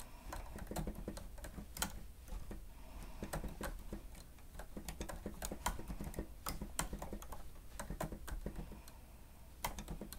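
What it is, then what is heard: Plastic stenotype machine being typed on. Fingertips and nails of both hands rapidly press the keys of a grey plastic stenotype machine with a screen. The typing comes out as quick, dry plastic clicks and taps with bright, short attacks that die away almost instantly. A steady low hum runs underneath throughout.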